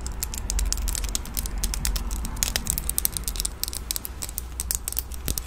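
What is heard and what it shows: Long nails handle a red plastic disposable lighter with a metal top, held close to the mic, and click its mechanism. Rapid, irregular bright clicks and tapping scratches patter over a steady low rumble, each tick dying away almost instantly.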